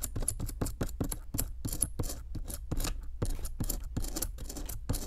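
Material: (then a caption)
Plaster. A metal chisel scrapes a solid pink plaster block around a buried bone piece in a rapid series of short, gritty strokes. Each stroke is a brief dry rasp with bright, high hiss over a steady low rumble, with almost no ring between scrapes.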